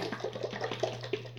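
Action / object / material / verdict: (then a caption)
shake / jar of herb-infused oil / oil / none. A jar of chebe oil infusion, herb-infused oil, is shaken back and forth, making repeated soft sloshing splashes of liquid against its sides. The sloshes come in quick, short bursts over a steady low hum.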